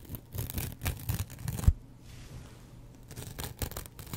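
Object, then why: Foam kitchen sponge with abrasive scouring pad. A double-edged razor blade scratches across the green abrasive side and the yellow foam of a kitchen sponge with scouring pad, making rough, papery scraping strokes weighted toward low frequencies. The scratching comes in bursts, peaks in a sharp scrape around the middle, goes quieter for about a second, then picks up again in short strokes.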